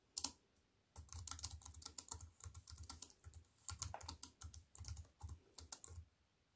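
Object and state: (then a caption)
Aluminium and plastic computer keyboard. Fingertips with long white-painted nails type on a slim wireless keyboard with a silver aluminium frame and black plastic chiclet keys resting on a wooden table. A single sharp key tap is followed by a brief pause, then a steady run of quick typing with bright, crisp clicks over a soft low thud from each press. The clicks are short and dry, with almost no ring after each one.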